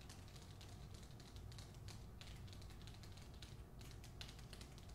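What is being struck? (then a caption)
Hardcover book with paper jacket over cardboard. Long nails tap rapidly across the front cover of a held-up hardcover book, The Hacienda, its paper dust jacket over cardboard. The result is a quiet, continuous stream of light, bright clicks that die away quickly over a steady low hum.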